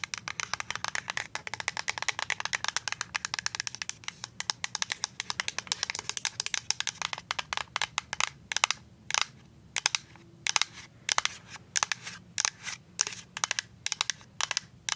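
Paper-clip-covered nails tap a full white plastic liquid soap pump bottle. A rapid, dense run of bright, dry clicks fills the first half, then thins into slower, spaced taps with almost no ring.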